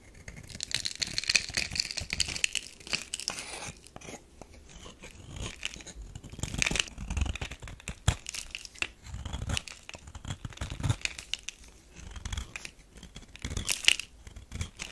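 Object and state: Bar of soap being scraped.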